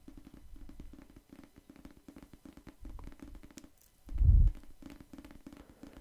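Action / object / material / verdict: tap / paperback book, paper cover / paper / none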